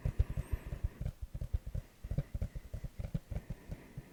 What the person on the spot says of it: It definitely sounds different than the regular case.